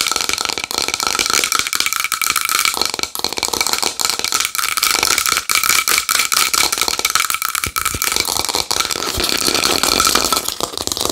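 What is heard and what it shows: Long nails tap rapidly and continuously on a small wooden bowl, producing a dense, bright clatter. The sound sits mostly in the high frequencies, with a faint ringing tone around 1.2 kHz and very little low end.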